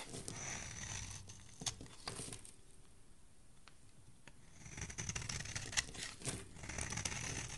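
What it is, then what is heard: Soap bar being shaved. A metal blade shaves the edges of a solid pale yellow soap bar, making crisp, bright scraping and crackling cuts with sharp little ticks. The shaving eases into a quieter stretch midway, then picks back up into denser, rougher scraping toward the end.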